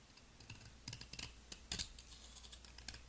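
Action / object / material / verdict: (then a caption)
scrape / round soap ball / soap / none. A utility knife blade scrapes and shaves the surface of a palm-sized, solid round turquoise soap ball (possibly a bath bomb) held in a hand with long nails, sending powdery flakes falling. A quick series of dry, crisp, bright scratching clicks sounds over a faint, steady low hum.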